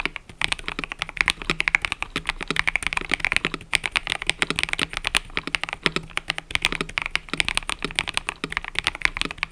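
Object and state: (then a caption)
Mechanical keyboard with plastic keycaps. Fingertips type continuously on a mechanical keyboard with cream and purple plastic keycaps. Dense, rapid keystrokes produce bright, crisp clacks that stop almost instantly, with little low end beneath them.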